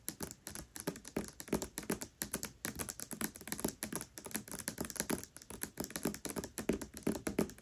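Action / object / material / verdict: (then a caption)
tap / hardcover book with paper dust jacket / paper / none. Long nails rapidly tap the glossy paper dust jacket of the hardcover book *Tress of the Emerald Sea* as it lies flat. The result is a quick, continuous stream of short, dry clicks with a soft papery body and bright, crisp edges, rising and falling in loose bursts.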